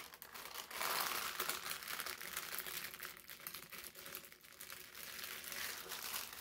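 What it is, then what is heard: Parchment paper crinkling. A folded stack of thin brown parchment paper is pressed flat with the palms, then picked up and squeezed. It makes dense, continuous crinkling and crackling that stays bright and hissy, with little low end, swelling and easing throughout.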